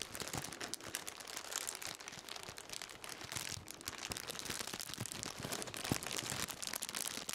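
A black plastic-wrapped bundle is held in both hands and crinkled and rubbed with the fingertips. The result is a steady, bright crackling and rustling with many sharp crisp snaps, quiet and close throughout.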